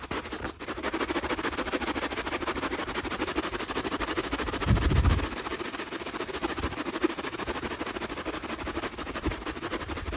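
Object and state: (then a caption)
Rubber sneaker sole being brushed. A black textured rubber sneaker outsole, held in hand, is scrubbed with a natural-bristle wooden brush. The steady, dense scratching of the bristles runs throughout, with a brief louder, low-pitched scuff around the middle.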